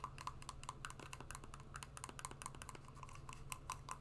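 An empty brown suede high-wedge shoe with a solid wedge heel is held in the hands and tapped and scratched with long painted nails. A quick, uneven run of short, dry clicks with a hollow tock near 1 kHz and bright scratchy edges sits over a steady low hum.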